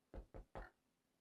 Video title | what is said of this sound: Sandwich bread recipe | if you knock on it, sounds pretty hollow